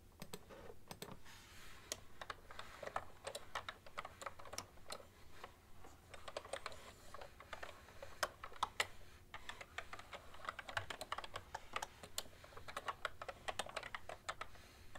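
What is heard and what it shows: Fingertips and long nails type quickly on a cream plastic ergonomic keyboard with hollow keys, one hand sometimes lifting off the keys. Dense, short, bright clicks and taps centred around 2 kHz die away almost instantly. A faint steady low hum sits underneath.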